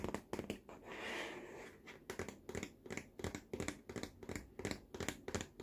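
Fingertips and nails tap and scratch the curved side of the hollow, lime-green molded plastic tray rim of a baby walker. Quick, dry, hollow taps come in uneven bursts, broken early by a longer rasping scratch, and each tap dies away almost instantly.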